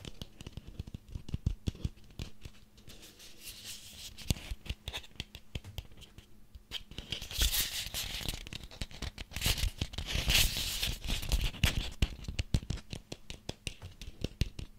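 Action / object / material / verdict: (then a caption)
scrape / small pumpkin rind / pumpkin rind / none. A small ribbed orange pumpkin with a stem, possibly a decorative one and solid-looking, is held in both hands and scratched and tapped with fingertips and nails. Quick, dry taps with a low thud patter throughout, mixed with bright, rasping scratches that swell into louder bursts in the second half. Each tap dies away almost instantly.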